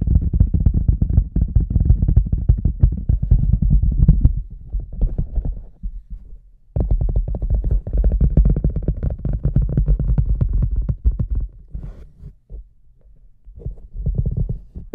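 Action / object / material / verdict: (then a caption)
tap / large rubber boot / rubber / none. Fingertips and nails tap the sides and top rim of a large, empty, hollow red rubber cartoon boot with a microphone placed inside. The result is rapid, uneven streams of deep, booming thuds with almost no ring. Quieter, sparser patches interrupt the tapping before it builds again.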